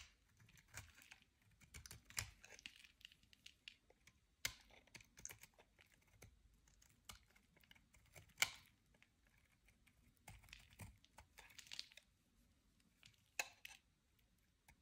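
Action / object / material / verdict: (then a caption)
scrape / bar soap shaved with a blade / soap / none. A utility-knife blade shaves and scrapes dry flakes from a solid, dry, hand-sized white oval bar of soap held in the hand. Quiet, crisp scratching and clicky crackles come in irregular bursts, bright and dry with almost no ring.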